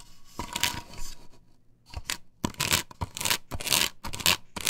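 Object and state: Plastic stencil on wooden board scratched.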